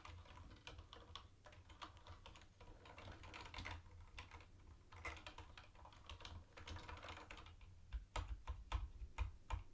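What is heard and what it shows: Fingertips of one hand tap steadily on a mint-green plastic retro keyboard with round white plastic keycaps, producing dense, short, bright clicks over a constant low hum. The taps grow louder and sharper near the end.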